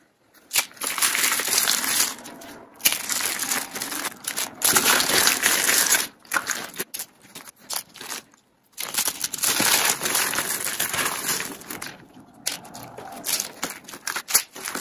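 Thin, dry, hollow rolled soap curls in yellow, purple and white, arranged in rings, are squeezed and crushed in the hand over a dark surface. Bright, crisp crackling and crunching comes in dense bursts separated by brief silent pauses.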